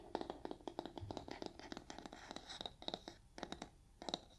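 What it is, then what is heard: Kitchen sponge scratched with nails. Long nails scratch the surface of a soft, porous yellow foam kitchen sponge with a brown scouring layer. The result is a rapid series of crisp, dry scratching strokes with a bright, rustling texture and no ring. The strokes come in quick bursts separated by short pauses.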